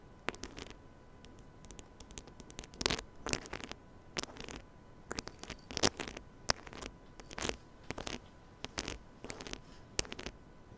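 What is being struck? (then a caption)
Small metal microphone head. Fingertips and nails scratch and rub the head of a small silver metal mini microphone on a stand, producing irregular bursts of close, bright, crackling scratches and rustles. The bursts come in quick clusters over a quiet background with a faint steady tone underneath, each stopping sharply with no ring.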